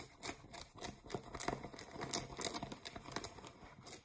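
Long nails and fingertips scratch the waistband and pockets of blue cotton denim jeans lying flat. A quiet, rapid run of dry, bright scratching strokes rasps across the fabric, each stroke short and crisp with no ring after it.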